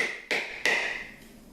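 The edge of a hammer taps twice along a line around an intact coconut shell. Each tap gives a bright, ringing click centred near 2 kHz that fades quickly. The shell is still whole and has not yet shifted to the hollow tone that signals a crack.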